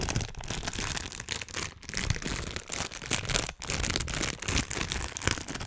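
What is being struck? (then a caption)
Thin clear plastic bag. A small, thin, empty transparent plastic bag is crumpled and rubbed between the fingertips of both hands above the microphone. It gives a dense, steady crinkling and rustling that is bright and broadband, with a low rumble underneath. The sound briefly dips quieter near 1.8 and 3.6 seconds.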